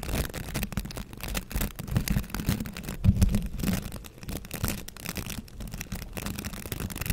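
Fingertips scratch and flick along the rows of stiff white-tipped bristles on a green plastic scrub brush. The result is a dense, continuous, low-heavy scratchy rustle with rapid crackling flicks that swell and fade throughout.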